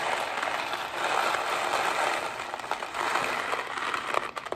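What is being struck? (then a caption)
Cardboard box of dry pasta. A hollow Kraft mac & cheese cardboard box holding dry pasta is held up and tapped quickly with fingernails. It makes a dense, rapid, crackly tapping centered in the midrange with almost no low end, and a few sharper, separate clicks toward the end.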